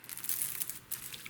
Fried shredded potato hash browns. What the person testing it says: how crispy that is